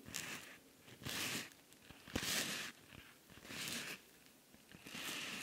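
Fingers squeeze a soft, flexible silver rhinestone-covered cosmetic pouch while nails scratch across the rhinestones. Five bright, gritty scratching bursts rise and fade with short quieter gaps between them, mostly high in tone with little low end.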